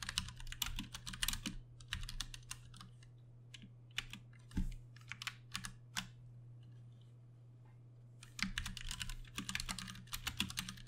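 Both hands type with their fingertips on a compact 60% backlit Ducky One 2 Mini mechanical keyboard with Cherry MX Brown switches and plastic keycaps. Bursts of sharp, bright key clacks come in quick runs, separated by short pauses and a quieter stretch in the middle. A steady low hum runs underneath throughout.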